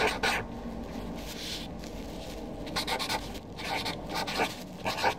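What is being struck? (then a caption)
Felt-tip marker on a paper sheet. A Sharpie felt-tip marker writes names on a flat white sheet of paper resting on a desk. The tip scratches and squeaks across the paper in short, bright strokes. Quieter rubbing fills the gaps between them.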